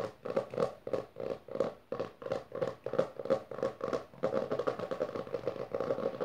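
Long dark nails on both hands quickly tap and scratch the textured maroon cloth-covered board cover of a closed hardcover book resting on purple fabric. The result is a rapid run of dry, papery, mid-pitched bursts with little ring. In the final couple of seconds they blur into a denser, steadier scratching.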